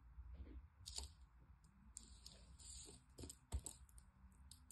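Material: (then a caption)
Sand. Bare fingertips with long painted nails squeeze, rub and break apart a loose, handful-sized mass of solid, crumbly yellow kinetic sand over the same pile on a teal mat. Soft crunching and crumbling mixes with bright, sharp nail clicks and ticks over a low background rumble, with the loudest snap near the end.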